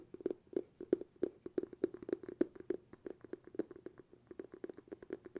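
Fingertips tap quickly on the bamboo lid of a glass jar, which is held with the lid facing forward. The result is a rapid, uneven run of short, dry, hollow knocks with a mid-low tone and brief bright tops. Each tap dies away almost instantly.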